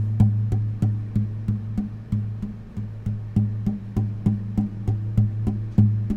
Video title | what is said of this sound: INSTRUMENT ASMR! (Guitar+Uke Tapping) ASMR for Relaxation | pay attention to the echoing and the vibration of the guitar